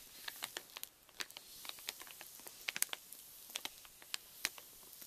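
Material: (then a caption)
Plastic film. Fingertips and short nails tap and scratch the surface of a large, flat, pink Reese's Miniatures bag made of metallised plastic film, which lies partly filled on a wooden table beside untouched wrapped candies; then a flat hand rubs and crinkles it. The result is a quiet, scattered series of sharp, bright crackles and ticks over a soft hiss, with almost no low end and each snap dying away instantly.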